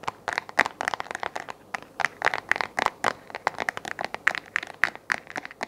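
Fingernails tap and scratch the face of a hollow, round white plastic desk lamp base held close to the microphone, producing about thirty quick, dry clicks and scratchy crinkles. Each hit is short and bright, centred around 1.9 kHz, with almost no low end and no ring.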